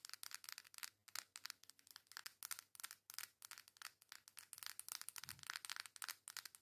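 Long nails rub and scratch the flat, foil-printed back of a coral cardboard face palette in a quick, steady rhythm. The result is a fast series of quiet, dry, bright scratching bursts with almost no low end and no ring between strokes.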